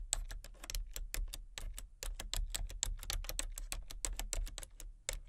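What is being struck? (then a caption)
Plastic computer keyboard. Fingertips with long nails tap quickly across the keys of a full-size plastic computer keyboard with color-changing backlit keys and a hollow body. Each tap is a short, sharp, bright click that stops at once, in an uneven typing rhythm over a faint low hum.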